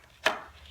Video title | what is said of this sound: My Thoughts - Stillman & Birn | If you just kind of flick the paper, you can hear that it's going to be pretty thick or pretty thin.